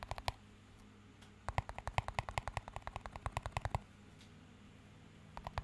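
A small, empty clear plastic cup with a green band is tapped and scratched with fingertips. A few quick taps open the clip, then a longer run of fast, uneven, dry clicks, each with a soft low thump and a bright tick, followed by a pause and a couple more taps at the end. A faint steady low hum sits underneath between the taps.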